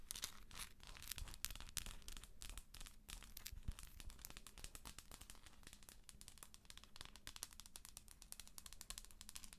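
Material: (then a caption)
Plastic. Long acrylic nails scratch and tap the shell of a hollow plastic galaxy moon lamp held in both hands. The result is a dense, continuous stream of crisp, crackly scratches and quick bright clicks, with a faint steady low hum underneath.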